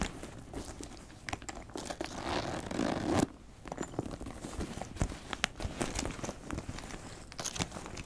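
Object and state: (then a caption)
Leather backpack, handled. A brown leather backpack with a flap and ring hardware is turned and handled while fingernails tap and scratch the leather and the clasp. Dense crinkly scratching swells louder until it cuts off abruptly at about three seconds. Scattered sharp, dry taps and light scrapes follow.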